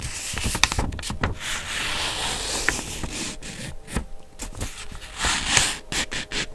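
A small flat sheet of white grid notebook paper is held up in both hands and scratched and rubbed with long blue-painted nails. Bright, papery scraping and rubbing runs throughout, broken by sharp nail ticks and crisp crinkles that flare at the high end, with a steady hiss between strokes.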